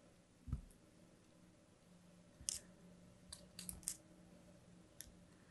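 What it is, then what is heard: Kinetic sand being cut. A palm-sized, solid slab of purple kinetic sand held in the fingers is sliced and scraped repeatedly with a thin metal blade. Six crisp, bright crumbling cuts sound at irregular intervals, one low dull thump near the start, then sharp high clicks, over a faint low hum.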